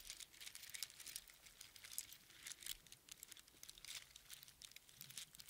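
A strand of small hollow spiral seashells on string is held close up in cupped hands and squeezed and shaken. It makes a quiet, dense stream of bright, crisp clicks and crinkly rattles with almost no low end, each tick dying away almost instantly.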